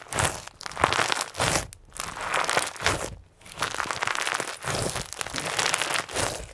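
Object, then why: Clear slime with plastic sequins. Clear slime filled with pink and white plastic sequins is kneaded and squeezed into a ball with both hands, fingertips pressing into it. The result is a series of crisp, bright crinkling and crunching bursts, each rising and fading with the squeezes, with short quiet gaps between them.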